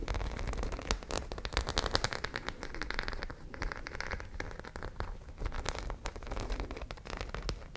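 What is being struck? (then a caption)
Fabric pouch with metal studs. Long nails scratch rapidly across the studs of a flat white fabric pouch that appears to be empty. The result is a dense, steady stream of tiny clicks and crackles. It sounds like rain or crackling, with sharp, bright ticks over a low rumbling base.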